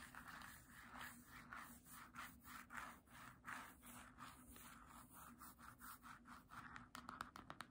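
Long nails scratch back and forth across the glossy paper cover of a small, solid green hardcover book in a steady run of rasping strokes centered in the mid-range. Near the end, the nails switch to quick, bright taps on the book's spine.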